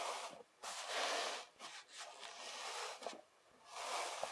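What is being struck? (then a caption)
Kinetic sand pressed and rubbed by hand. A flattened layer of kinetic sand is rubbed and pressed with fingertips and palms, then pushed together into a slab. The result is a soft, grainy hiss and rustle that is bright and airy, with almost no low end. It swells and fades in several waves with brief quiet gaps between them.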